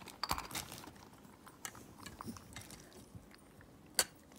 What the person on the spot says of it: 白っぴを振ると音がするね。